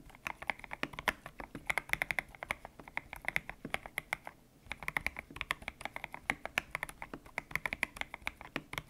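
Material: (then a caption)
Plastic. A white-cased mechanical keyboard with grey and pink PBT plastic keycaps and a hollow case, resting on a desk mat, is typed on with fingertips. Many quick, bright, clacky keystrokes arrive in a fast, uneven stream, with a brief pause near the middle. Each click dies away almost at once, giving a crisp, hollow patter.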